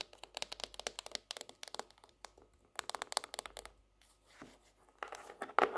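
A laminated hardcover notebook with a tropical-leaf cover is held up on its edge while long nails tap along its cardboard spine and edge. The quick, dry, clicky taps come in rapid bursts separated by short pauses, bright with a pitch around 1.3 kHz and no low end. The clip ends in louder scratchy, crinkly taps.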